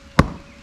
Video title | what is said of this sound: 48 - Dead Ash - The Take Down - Part 1 | nice and firm